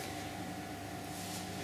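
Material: Nothing is struck.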